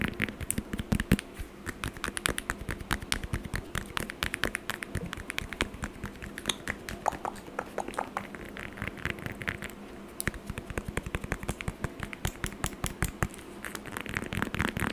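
Long acrylic nails tap and scratch rapidly across the peel of a whole orange held in the hand. Dense, uneven clicking and scratching runs without pause for the whole clip. Each tap is short and dry with almost no ring, and a low hum sits steadily underneath.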